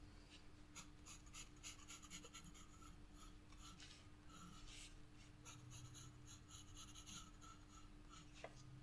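A black pencil shades flower petals on a white sketchbook paper page with steady, scratching strokes. The quiet, continuous rasp brightens with each stroke over a faint, steady low hum, with one sharper tick near the end.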